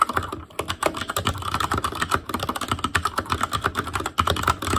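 Fingertips type continuously on an Asus Claymore Core, a backlit mechanical keyboard with plastic keycaps. A rapid, uneven stream of short, sharp clicks comes through, each with a bright, clacky tone around 1.3 kHz and a dull thock underneath. The keystrokes die away almost instantly, with a brief pause partway through.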